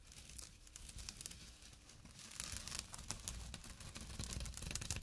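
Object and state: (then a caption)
Burlap bag scratched. Short nails briskly scratch the weave of a small, empty jute/burlap drawstring pouch resting on dark cloth. The result is a quiet, dry, rough rasping and crinkling texture, with bright scratchy bursts over a soft low rumble, growing slightly louder toward the end.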